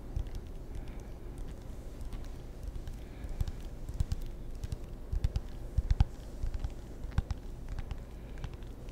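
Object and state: Wooden table tennis paddle with rubber faces.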